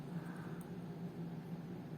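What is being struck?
Nothing is struck.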